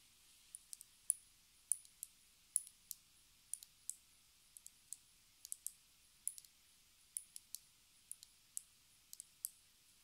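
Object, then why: Small plastic lip gloss tube. A small square plastic lip gloss tube with a white cap and an orange-brown filled body is held in the hands and tapped and scratched with long red nails. About 29 sharp, dry, bright clicks come in an uneven, unhurried rhythm, some in quick pairs, over a quiet background. Each click is very short, with no ring or low body.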